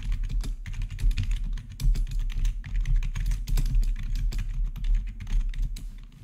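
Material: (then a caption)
Plastic. Fingertips tap rapidly on the keys of a black plastic, backlit RGB gaming keyboard with a hollow housing, producing a dense, steady stream of short clicks and clacks. The typing carries a deep, hollow low-end thump under brief, bright key clicks that die away quickly.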